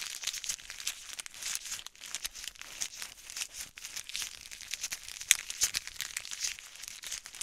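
A small, flat, white printed plastic packet with black lettering is crinkled and squeezed between the fingertips and nails of both hands. Dense, bright crinkling and crackling runs throughout with almost no low end. A sharper, louder crackle stands out a little past the five-second mark.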